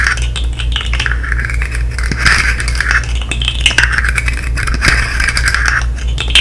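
A hand-sized articulated fidget slug made of colorful hollow plastic segments is held in the hands and worked with long nails and fingertips, tapping and clicking its segments. Dense, rapid plastic clicks and light rattling run continuously, with bright, hollow ticks centered around 1.5 kHz. A steady low hum sits underneath throughout.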